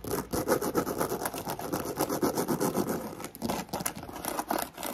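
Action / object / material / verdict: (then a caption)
scrape / croc-embossed faux leather handbag / faux leather / none. Long nails rapidly tap and scratch the side and front of a black croc-embossed faux leather handbag, including the area by its metal clasp, making fast, uneven dry scratching and tapping with a mid-range body. A steady fan whirs in the background throughout.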